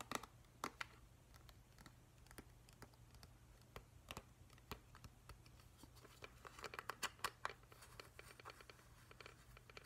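A hand-sized hollow plastic whale night light, turned to show its white plastic underside with a vent grille, is tapped and scratched with fingertips and nails. The result is a rapid, uneven series of short, dry clicks and scratchy ticks, centered around 1.2 kHz with bright edges, that die away almost instantly. A faint steady low hum sits underneath.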